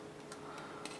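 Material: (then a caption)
Metal. A solid metal leg part from a DeAgostini Build Your Own R2-D2 model is tapped twice, giving two quiet, short clicks. The clicks have a light, plastic-like sound despite the part being solid metal.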